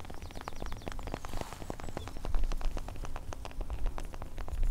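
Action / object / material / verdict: scrape / bark of a large tree trunk / wood bark / none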